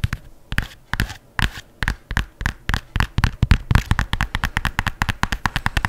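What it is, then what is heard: Leather sneaker. An empty white leather adidas sneaker with laces is turned in the hands while long nails scratch and flick its upper and laces. About 31 short, dry taps and flicks are heard, each with a low thump and a bright click that dies away almost instantly. They start sparse and speed up into a rapid, steady patter.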